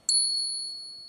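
A Morgan silver dollar is tapped once for a ping test and gives a long, bell-like ring. The ringing stays high and steady and fades slowly, which marks it as a real, non-magnetic silver coin.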